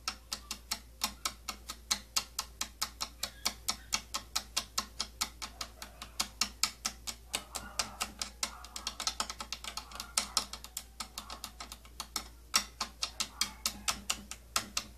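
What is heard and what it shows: Long nails tap rapidly on the rim of a round, hollow purple plastic inner compartment with holes from a tattoo kit. About 75 sharp, bright clicking taps ring out in quick succession, each dying away almost instantly.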